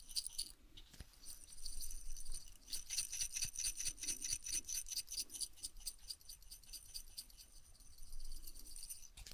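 A glass jar is shaken as an ASMR trigger, producing a quick, uneven rattling with bright, high, jingly clicks. The short, dry taps come in dense bursts that rise and fall in loudness over a faint low rumble.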